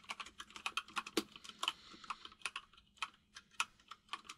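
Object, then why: Plastic mechanical keyboard. Both hands type with their fingertips on a compact mechanical keyboard with white and grey plastic keycaps. About two dozen quick, bright plastic clacks come in an uneven rhythm, each dying away almost at once over a faint steady low hum.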